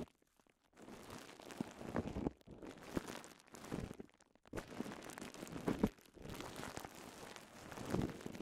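A twisted strip of clear polyethylene bubble wrap is pinched, twisted and popped with fingertips, giving soft, dense crinkling and crunching with small sharp pops. The sound comes in several bursts separated by brief quiet gaps, each made of quick, dry crackles with almost no ring.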